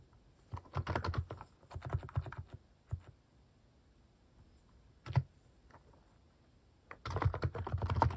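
Fingertips type rapidly on a plastic mechanical keyboard fitted with cat keycaps, producing dense bursts of low, clacky keystrokes. Pauses fall between the bursts, with a single stroke near the middle before fast typing resumes at the end.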